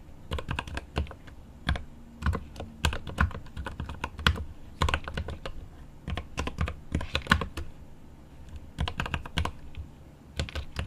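Both hands type rapidly with their fingertips on a 75% mechanical keyboard with plastic keycaps on an aluminum case. Quick bursts of deep, thocky key taps come in clusters separated by brief pauses. Each tap is short and dry, with its weight in the low end and only a light bright click on top.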